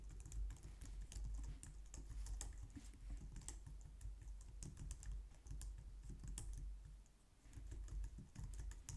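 A low-profile white or light-grey plastic wireless keyboard, resting on a glitter mat on a wooden desk, is typed on with long painted nails and fingertips. A steady run of quick, soft, dry clicking taps is heard, with a low rumbling bed underneath and bright click tops, and possibly faint music in the background.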